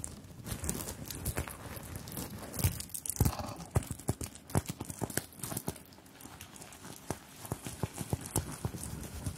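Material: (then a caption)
Sequins. Long pink-tipped nails tap and scratch across a small soft fabric clutch purse covered in metal and plastic sequins and beads, held in both hands close to the microphones. Many quick, sharp clicks and rustling scrapes come over a low, bassy rumble of handling, with bright sparkly sequin detail on top.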